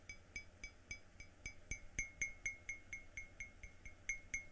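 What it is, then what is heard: Ceramic coffee mug. Fingertips tap the outer wall of an empty, yellow-glazed ceramic coffee mug with a white inside, held by its handle in the other hand. Eighteen light, quick clinks sound at an uneven pace, each a bright ping around 2.2 kHz with high overtones that dies away almost at once over a faint low hum.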